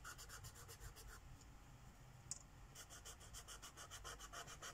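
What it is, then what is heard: Marker scribbling on a paper page. A green Sharpie marker's felt tip scribbles in short back-and-forth strokes across a flat paper page of a mandala coloring book lying on a wooden table. Quick, rhythmic, bright scratchy rubs run for about a second, pause with a single faint tick, then resume steadily to the end over a low background rumble.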